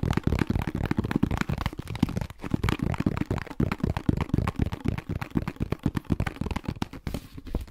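A medium, hollow cylindrical plastic Clorox disinfecting-wipes canister with a white lid, likely partly full, is held in both hands and tapped quickly with fingertips and nails on the lid and sides. The result is a dense, uneven stream of dull, low, hollow thumps and light clicks that die away almost instantly, with a brief pause just past two seconds.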